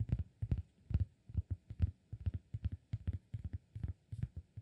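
Fingertips tap and scratch the surface of a round, flat, solid cork disk held in one hand. The result is a quick run of soft, dull, low thumps with almost no ring, and faint scratchy texture between the taps.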